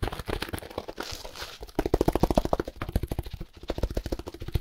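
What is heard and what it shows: Hands in grey and black work gloves scratch, squeeze and tap a small, solid, dense block of compressed dry hay wrapped in clear plastic film with a paper label. A fast, uneven run of short, dull taps and scratches comes with crinkly film and dry hay rustling, mostly low in tone with quick, dry decays.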